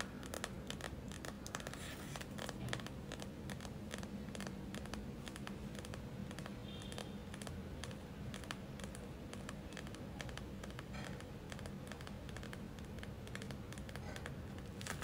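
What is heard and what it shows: Long acrylic nail tips tap rapidly on the surface of a gel-filled plastic eye mask. The result is a dense, quiet stream of short, sharp clicks with brief bright edges over a soft, low muffled body, continuing steadily for about fifteen seconds.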